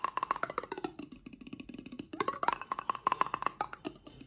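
A medium-sized clear glass jar with a paper label and a white plastic lid, hollow and apparently empty, is held in one hand and tapped rapidly with the fingertips and nails of the other. About thirty quick, dry clicks follow, each ringing a bright tone near 1 kHz. A softer, lower patter fills the middle of the clip before the taps turn loud and sharp again.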